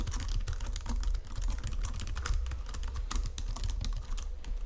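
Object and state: Plastic computer keyboard.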